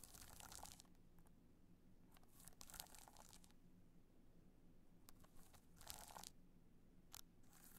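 Long nails scratch across the studded surface of a black multicolor rhinestone hard-shell clutch as it is held at different angles. Bursts of bright, crunchy, crinkling scratching come and go over a low, steady background hum.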